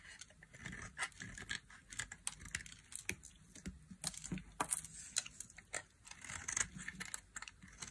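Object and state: Dry soap bar being carved.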